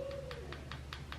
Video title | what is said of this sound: DIP BABY DIP #3 // DIY DIP POWDER NAILS // MELODIE SUSIE NAIL DRILL | tap on them until you hear that sound that means it's ready to buff